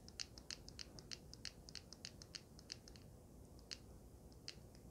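Long red nails tap and scratch a small, solid handheld vape mod with a swirled gold and purple resin panel and a metal frame. A quiet run of quick, bright clicks and short scratches comes in uneven bursts over a low background rumble. Each tap is dry and dies away at once with no ring.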